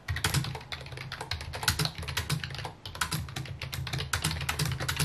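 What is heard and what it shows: Fingertips type rapidly on a full-size white plastic computer keyboard with mint keycaps resting on a wooden desk. A dense, continuous stream of short, bright clicky key taps rides over a steady low hum, with brief pauses and bursts of faster typing throughout.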